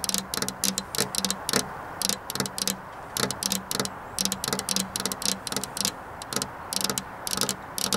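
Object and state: Glass window pane tapped with fingernails.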